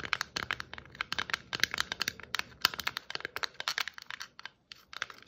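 Long fingernails scratch and tap a hollow plastic Christmas ornament ball, a red and white glitter-striped bauble held close, in a rapid run of crisp, bright clicks and scratchy crinkles. Each tap is sharp and dies away almost at once, with little low end, and there is a brief quiet gap near the end before the tapping resumes.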